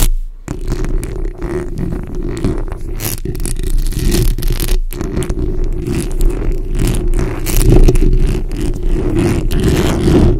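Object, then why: Metal mesh microphone grille. A bare, hollow metal mesh grille on a black microphone is scratched with the tips of long nails and fingertips. The result is a continuous, dense scratching and rustling with a heavy low-frequency rumble, steady throughout with brief dips.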